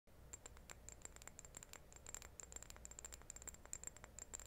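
A small, hollow, white glazed ceramic reed diffuser vase, still holding its untouched wooden reeds, is held in both hands and tapped and scratched with long painted nails. Quick, dry, bright clicks and light scratches patter unevenly over a low, steady hum. Each tap is crisp and sharp, with a faint high ring that dies away almost at once.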